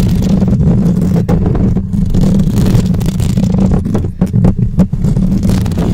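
Long painted nails on both hands scratch and tap quickly across the hollow metal mesh head of a black microphone. The result is a dense, steady, low rumbling scrape with a buzzing hum, broken by a few brief quiet gaps.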